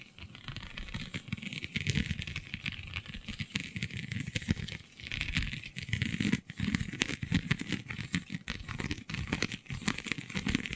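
Long nails scratch across a flexible, iridescent holographic vinyl sheet with raised scale-like bumps. The result is a dense, steady run of crinkly, crackling scratches with quick bright ticks over a soft low rustle, continuing for about 11 seconds with only brief dips.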